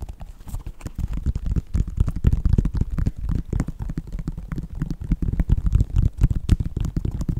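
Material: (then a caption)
Synthetic leather. Fingertips and nails tap rapidly on the synthetic upper of a white Nike sneaker. The result is a dense, irregular run of short, dull, low thumps with brief bright clicks and almost no ring.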